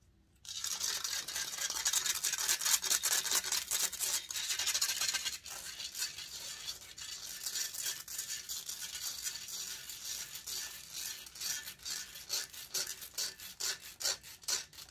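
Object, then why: Metal mesh microphone grille. Long nails rub and scratch the hollow metal mesh grille of a large silver condenser microphone. It makes dense, bright, hissy scraping that begins after a brief silence and runs steadily at first. Later it breaks into quicker, more separate rasping strokes.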